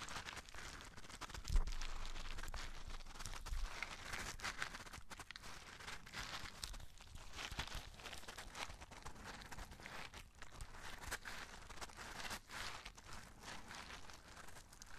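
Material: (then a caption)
Cardboard. Fingertips and short nails tap and scratch a small printed cardboard Nerds candy box, likely holding candy, held in both hands close to the mic. The result is a dense, uneven stream of dry papery scratches and quick taps with bright crinkly texture, a low thump near the start, and faint rattling throughout.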